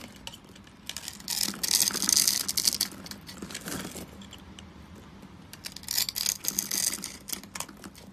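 A metal blade scrapes and cuts across a dry, solid, palm-sized rectangular bar of blue-and-white striped soap, pre-scored into small cubes and held in one hand, flaking off crunchy bits. Bright, crackly crunching and scraping comes in two dense bursts, the first louder and the second near the end, with quieter rustling between.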